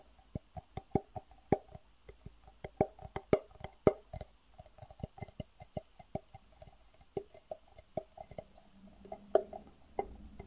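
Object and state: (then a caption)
Hollow, empty plastic box. A small, hollow, empty clear plastic box is tapped with the fingertips, giving around 29 quick, dry, hollow taps at an uneven pace with a tone near 400 Hz. Each tap dies away almost instantly. A faint low hum sits underneath, rising slightly toward the end.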